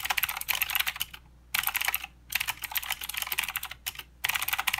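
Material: Plastic.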